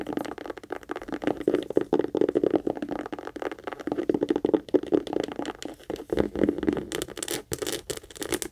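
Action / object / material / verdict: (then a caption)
scrape / small leather heart-shaped purse / leather / none. Long nails rapidly scratch and tap the sides and front of a small, hollow, pink leather heart-shaped purse held in both hands and turned over. The result is a dense stream of quick, dry, papery scratches and crisp taps centered around 440 Hz, with brighter, sharper scrapes toward the end.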